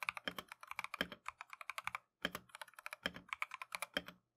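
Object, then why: Plastic mechanical keyboard. Gloved fingertips rapidly type on a full-size plastic Keychron V1 mechanical keyboard with Tangerine switches and green and cream Matcha PBT XDA keycaps, resting on a desk mat. About 34 quick, bright switch clicks and clacks come in fast bursts, each dying away almost instantly, with a brief pause near the middle.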